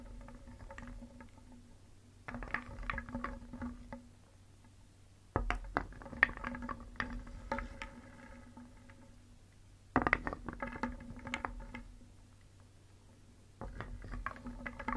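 A wooden spoon stirs and scoops through a round wooden bowl full of small, solid, painted wooden cones and balls, making the pieces clack and rattle together. The clacking comes in four louder bursts, starting around 2, 5, 10 and 13.5 seconds, with quieter, sparser clicks between them over a faint steady low hum.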